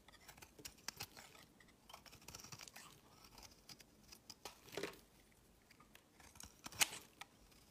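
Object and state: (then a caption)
Bar of soap being shaved with a blade. A metal utility knife blade shaves a solid tan-brown bar of soap, peeling off flaky curls. Quiet, bright, crisp scraping strokes and short sharp clicks sound at irregular intervals, with one louder, sharper cut near the end.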